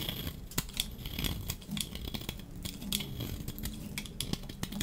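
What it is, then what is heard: Dry soap bar shaved with a blade. A metal utility-knife blade shaves curls off a hand-sized, solid, pink-striped dry soap bar held in the hand. Repeated dry scraping strokes mix with sharp crisp clicks and a bright hiss over a low rumble, each stroke cutting off quickly.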